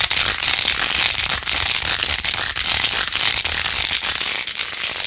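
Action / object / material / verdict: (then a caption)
scrape / plastic phone case with faux-pearl beads / plastic / none. Long nails scratch fast over the pink faux-pearl beads of a jeweled plastic phone case with a rose-gold rim, held in both hands. The result is a steady, dense, bright crackling rattle for about five seconds, almost all high-pitched with barely any low end.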